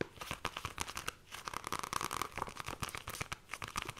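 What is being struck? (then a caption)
Paperback book with glossy card cover. Long nails tap and scratch the glossy card cover of a paperback book, The Fairy Bears, held in both hands. Quick, dense clicks and dry scraping rasps blend with a faint tone around 1.1 kHz and bright hiss in the highs, with no ringing between strokes.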